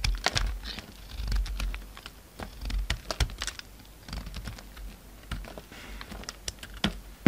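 A utility knife cuts into and scrapes chips off a solid pink soap bar, which shrinks as it is carved. The result is a rapid series of quiet, crisp clicks and short scraping strokes, with dull low thuds under brief bright ticks. Each sound stops almost at once with no ring.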